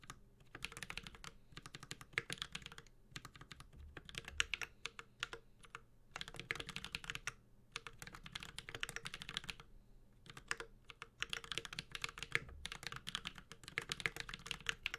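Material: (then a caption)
Aluminium, plastic. A Space65 Cybervoyager 65% mechanical keyboard with an aluminum case, ABS keycaps and Holy Panda switches is typed on continuously with the fingertips of both hands. Rapid, bright, clicky keystrokes come in bursts with brief pauses, each one short and dry with a faint low thock beneath.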